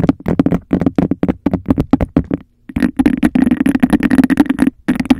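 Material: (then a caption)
Glass. A hollow, empty cup of embossed glass is tapped on the rim and scratched along its textured sides with long nails. Fast, dry taps with a hollow tone around 270 Hz come first, followed by dense, continuous rasping scratches with a bright edge, then a brief pause before a few more taps.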